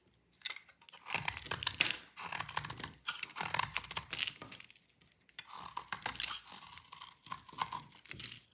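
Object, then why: Bar of soap. A dry, solid blue bar of soap held in the hand is cut with a metal utility blade, making bright, crisp crunching and crackling as crunchy chips break off. The cutting comes in several bursts of rapid, brittle snaps separated by brief pauses.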